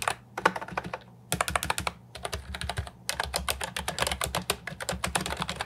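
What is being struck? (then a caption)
Plastic keyboard with round keycaps. Fingertips type on a compact, hollow plastic Ajazz 308I keyboard with round, typewriter-style retro keycaps. Bursts of quick, clacky keystrokes have bright, dry clicks, with short pauses near 1 and 2 seconds before a dense final run. A faint low hum sits underneath.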